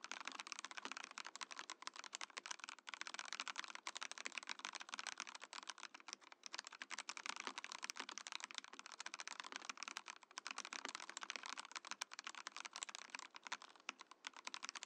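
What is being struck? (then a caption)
Mechanical keyboard, plastic case and plastic keycaps. A compact Mojo68 mechanical keyboard with a clear, translucent plastic case and plastic keycaps is typed on rapidly with the fingertips. It gives a steady stream of short, crisp, bright clacks with almost no low end, each keystroke dying away instantly.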